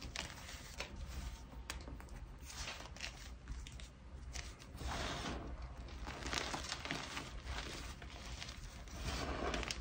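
Both hands grab and squeeze handfuls from a heap of white gym chalk chunks (magnesium carbonate) and powder, while fingertips crush the solid, crumbly pieces. Dense, dry crunching and gritty crinkling run throughout over a low rumble. The crushing grows louder and brighter after about five seconds and again near the end.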